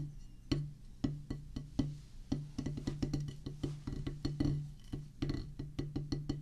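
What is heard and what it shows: Wooden drumsticks strike a solid oval drum practice pad with a black rubber top on a pressboard/wood base. The result is a steady, unevenly spaced run of dull, woody taps, each with a short low thud around 145 Hz and a quick decay.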